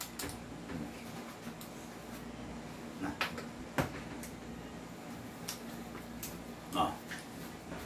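An upgraded airsoft pistol is shaken for comparison and stays tight, giving only a few faint, soft clicks and handling taps with no rattle. A low background hum runs underneath.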